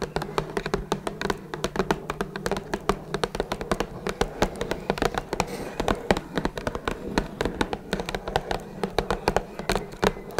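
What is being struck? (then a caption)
Small closed cardboard box. Long red nails tap rapidly and steadily on the top of a small, closed, hollow blue Twinings cardboard tea box. The taps are short, dry clicks with a hollow low thump and almost no ring, running in a dense, uneven rhythm throughout.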